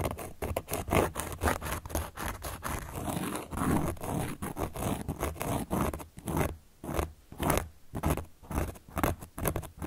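A carving tool held upright by long nails traces and scratches across a large, round, solid cork board. Dense, dry scratching strokes run close together at first, then separate into shorter bursts with quiet gaps toward the end, over a steady low rumble.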